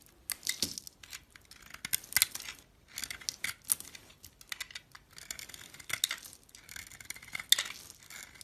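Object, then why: Glitter-coated soap bar. A box-cutter blade peels the purple glitter coating off a solid pink soap bar held in the hand, then shaves the pink soap underneath. The sound is a series of quiet, dry, bright scraping and crackling strokes in short bursts, with almost no low end and no ring after each stroke.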